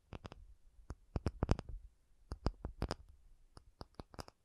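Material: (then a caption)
Acrylic. An acrylic object is tapped in a quick, irregular series of short, dry taps. Each tap has a soft low thud with a faint bright click and dies away almost instantly, leaving near silence between taps.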